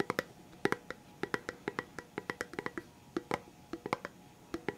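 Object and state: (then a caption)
Cardboard chip tube tapped with fingertips. A red Pringles chips can, a hollow composite cardboard tube with a plastic lid, is held in the hands and tapped with the fingertips on the lid and body. Quick, dry, hollow taps come in an uneven rhythm, each with a low-mid knock and a bright click that dies away almost at once.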